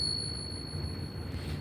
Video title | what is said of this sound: Coin glass, foreign coins, Silver dollar at melt? Fossil rock opens to show both sides of fossil. | that's a good ping sound listen to that closely